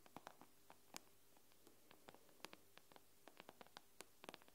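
Long nail tips tap the glass screen of an iPad with both hands, giving about eighteen quiet, dry clicks with a bright edge and no ring. A faint, steady low hum sits underneath the irregular taps.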